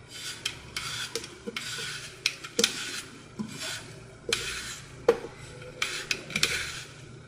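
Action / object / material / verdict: scrape / glitter-coated floral foam block / floral foam / none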